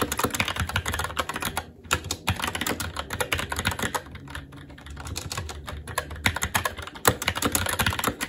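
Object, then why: Plastic mechanical keyboard. Fingertips of both hands type continuously on a SteelSeries Apex 7 TKL mechanical keyboard with red linear switches, plastic keycaps and a metal top plate. Rapid, short keystrokes blend a low thock with bright plastic clacks, each dying away almost instantly. The typing briefly softens around the middle before picking back up.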